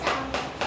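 A piece of cardboard is tapped, giving quiet, soft, dull taps with little low end, centered in the mid frequencies. It is heard as a soft sound.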